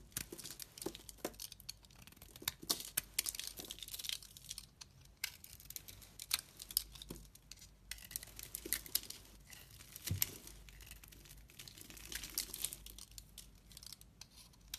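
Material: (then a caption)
Soap. A utility blade, held in a hand with long red nails, scrapes thin shavings from the flat green cut face of a hand-sized solid bar soap with a gold-brown coating and green interior. The result is a dense, bright, crinkly scraping made of many tiny crackles and ticks, with quick dry strokes that barely ring and recur steadily throughout.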